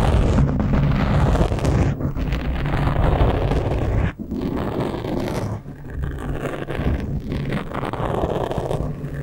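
Fingertips and nails scratch and rub the sides of a black foam windscreen on a microphone. The result is a dense, continuous, muffled rumbling scrape, heavy in the lows with almost no high end, with brief dips around 4 and 5.6 seconds.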